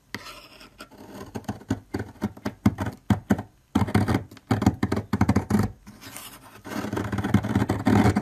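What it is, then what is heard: Bar soap being scraped. A metal blade scrapes chunks off a solid, long orange bar of soap standing upright, and the shavings pile up at its base. The clip is a series of short, dry, crumbly scraping strokes with brief pauses between them, followed by a denser, continuous stretch of scraping near the end.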